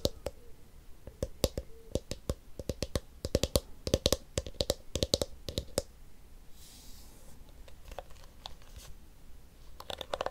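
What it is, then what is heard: Plastic hairbrush. Fingernails tap the blue hollow plastic back of a plastic detangling hairbrush in quick, sharp clicks with a short hollow ring, then fingertips rub its pink plastic teeth in a soft, bright rustle. Scattered lighter taps follow, with a few more quick clicks at the end.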